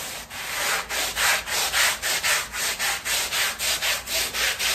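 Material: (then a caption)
Fabric. A long-handled black stiff-bristle brush scrubs a small flat woven fabric rug covered in soap foam on plastic sheeting. It makes a steady series of bright, hissing back-and-forth strokes, each rising and falling in loudness, with a wet, frothy texture and almost no low end.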